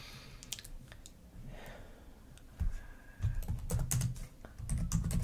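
Long nails and fingertips type and tap on the plastic keys of a black laptop keyboard. Light, bright clicks mix with soft low thumps in an uneven rhythm over a quiet hiss. The tapping grows louder and denser in the second half.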